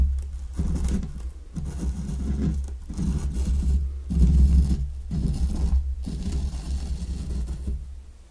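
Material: Sand.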